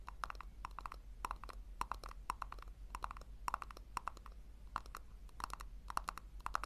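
A small hollow pink plastic tub held in the hands is tapped rapidly with long nails. The taps are short, dry clicks with a hollow midrange tone around 1 kHz that stops at once with no ring, over a steady low hum.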